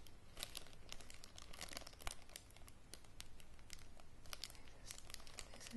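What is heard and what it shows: A small clear plastic zip-lock bag with a red seal strip is crinkled and worked near the seal by fingers and nails. Dense, quiet crackling and rustling snaps continue throughout the clip.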